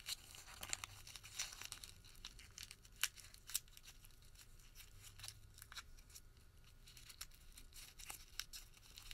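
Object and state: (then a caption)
Thermal paper receipt being crumpled. A crumpled white thermal paper receipt is pulled open between both hands, then squeezed back into a small ball with the fingertips. It makes a quiet, bright crinkle of dense crackling with sharp, brief snaps scattered throughout and little low end.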